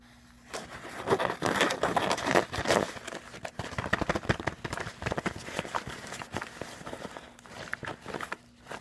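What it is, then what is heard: Fabric cosmetic pouch. Fingernails scratch and tap quickly over the textured surface of a soft, filled, floral-print woven fabric cosmetic bag. The result is a dense, irregular stream of dry, crackly scratching and soft taps. It is loudest and busiest in the first few seconds, then continues at a lighter level over a faint low hum.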